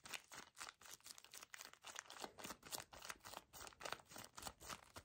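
A small, soft paper tissue pack wrapped in crinkly plastic film is gripped and squeezed by fingertips and nails. This produces fast, uneven bursts of bright, crackling crinkles, about four per second. The sound is quiet, with very little low end.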